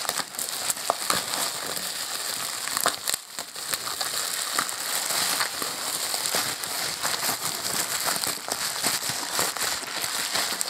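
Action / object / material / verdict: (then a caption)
scrape / plastic bubble wrap sleeve / plastic / none. Both hands work with their fingertips at a clear plastic bubble wrap sleeve around a small boxed Nokia Lumia Windows phone, crinkling and rubbing the air-filled film while unwrapping it. The result is a steady, bright rustling and crinkling with sharp little crackles scattered throughout and almost no low end.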